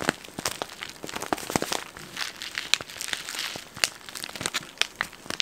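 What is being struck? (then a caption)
Plastic snack packet. A yellow printed plastic snack packet, medium-sized, flexible and hollow and seemingly holding contents, is held close and crinkled and squeezed with the fingers. It gives a steady stream of bright, dry crackles and sharp snapping crinkles over a soft rustling bed, with almost no low end. Each crinkle stops at once with no ring.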